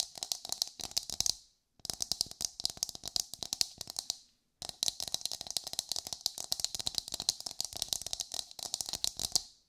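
Long white nails rapidly tap and scratch a whole brown coconut with a fibrous hard shell, held in hand and sounding hollow. Dense bursts of crisp, bright clicks come in three runs, separated by short silences, each tap dying away almost instantly.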